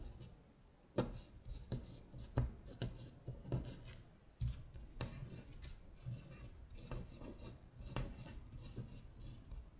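Long acrylic nails trace and scratch across the text of a thin paper worksheet lying flat. Dry, rasping scratches and rubs come in repeated strokes, with sharper scrapes now and then over a soft, low, muffled undertone.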